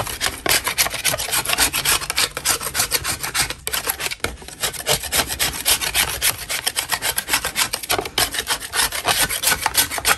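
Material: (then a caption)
Chalk. A metal putty knife scrapes a solid chalk block held in a gloved hand, in quick, uneven repeated strokes about three to four per second. Each stroke gives a dry, bright, gritty rasp with almost no low end and no ring. A brief pause comes near the middle before the scraping resumes.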